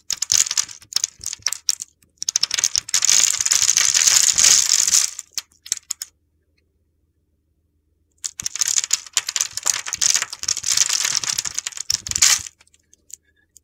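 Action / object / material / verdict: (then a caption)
scrape / translucent soap bar scraped with a metal blade / soap / none. A metal box-cutter blade scores and scrapes the surface of a solid, oval, translucent red soap bar held in the hand, knocking off small pink shavings. The sound is a crisp, gritty, high-pitched scratching in rapid, uneven strokes. It comes in two bursts with a silent pause between them.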